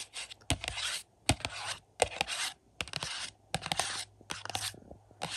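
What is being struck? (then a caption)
Plastic disc case with cardboard slipcover. Fingertips tap and rub the front cover of a 4K UHD case for The Boogens, a hollow plastic case with a glossy printed cardboard slipcover, lying on a carpet. Bursts of bright, hissy scratching alternate with sharp, dry taps that stop almost instantly, at an irregular pace, over a faint steady low hum.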